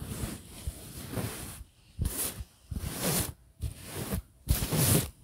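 A soft printed fabric pillow is gripped and scratched with fingers and nails close to the mic. Bright, raspy scratching and rustling comes in four separate bursts over a low, muffled thumping rumble, with short quiet gaps between them.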